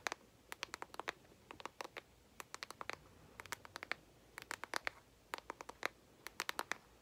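A hand-sized, flat, hollow, rectangular cardboard Morphe Jaclyn Hill eyeshadow palette with a speckled print is held in both hands while long acrylic nails tap and scratch its lid. The result is a quiet, irregular run of sharp, dry, bright clicks and light scratches, often in quick clusters, each stopping at once with no ring or low body.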